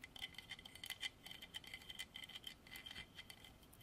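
A solid carved horse statue of dark striped hardwood is tapped quickly with fingertips and nails. The result is a quiet, steady stream of short, dry, bright clicks with a faint tone near 2 kHz, each dying away almost instantly.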